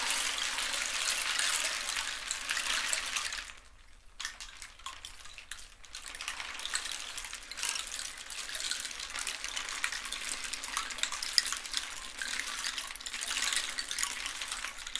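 A long, hollow rainstick made from a dried cactus skeleton and filled with loose seeds or pebbles rests across the lap, held in both hands with fingertips on its surface, and is gently tilted, rocked and shaken. The filling trickles inside as a dense, bright, hissing patter like running water. It fades almost to silence around the four-second mark, then resumes steadily for the rest of the clip.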